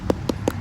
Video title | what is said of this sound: พาไปซื้อทุเรียน มาขาย/เศรษฐี ไม่มีนาย EP.443 | ถ้าเป็นเสียงหลวมก็จะเป็นรูปนี้ครับเสียงหลวมละ ใกล้จะสุกแล้วครับ